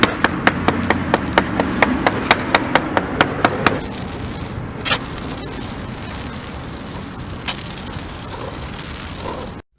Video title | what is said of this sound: Sikalastic DeckPro Application | hammering sound allows you to determine the presence of delamination overlay bonding problems